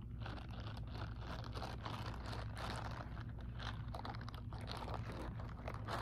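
Long acrylic nails scratch and tap the textured fingers of an empty grey silicone scrubbing glove held up in the air. The result is a dense, continuous run of soft crunchy, crinkly scratching over a steady low hum.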